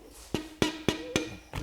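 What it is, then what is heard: Connecting rod with no abnormal bearing play. A mallet taps a steel motorcycle engine connecting rod five times, checking it from the opposite direction, producing short, dull knocks with a brief low ring. No sharp or abnormal noise is heard, indicating the connecting rod bearing has no excessive play.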